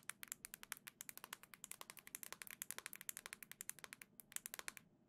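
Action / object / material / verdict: tap / plastic handheld game console / plastic / none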